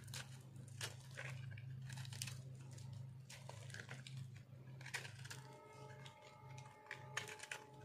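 A metal blade carves and scrapes a solid, round, hand-held ball of dry pink soap with a visible cut face. It makes dry, crunchy scraping and crumbling bursts over a steady low hum. Near the end, faint steady tones ring through the scraping.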